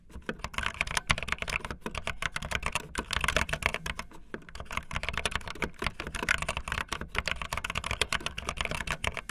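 Fast typing on a full-size backlit plastic Bluetooth membrane keyboard with white and blue plastic keycaps and a hollow plastic body, the keys pressed with fingertips and the tips of long painted nails. A dense, steady stream of short, bright plastic clacks and taps rattles on with almost no ring, over a soft low rumble.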